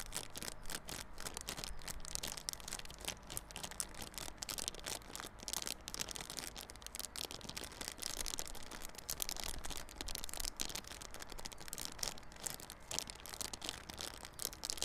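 Fingernails scratch the clear plastic wrap on a small yellow cardboard Realme Buds Classic earphone box held on its side. The result is a steady, dense stream of bright, crackly scratching and crinkling over a low, constant hum, with no pauses.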